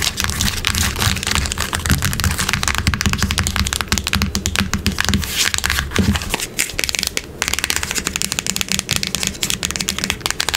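Long acrylic nails tap fast on a small, closed, hollow printed cardboard box that lies on a wooden table and is held in place. The result is a dense stream of sharp, bright clicks with a hollow, low thud underneath, and the low body fades after about six seconds, leaving mostly crisp, dry taps.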